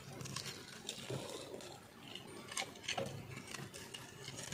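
A round, solid, dry speckled bar soap held in hand is shaved with a metal knife blade, sending crumbly flakes falling. The sound is a quiet, crunchy scraping with bright, crackly bursts over a low, steady hum.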